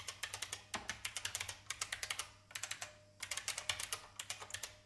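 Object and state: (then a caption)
Mechanical keyboard being typed on. Fingertips with red-painted nails type continuously on a vintage beige plastic IBM mechanical keyboard resting on a wooden desk. About 33 sharp, bright, clacky keystrokes come in quick bursts with brief pauses, each one dying away almost instantly. A faint steady low hum sits underneath.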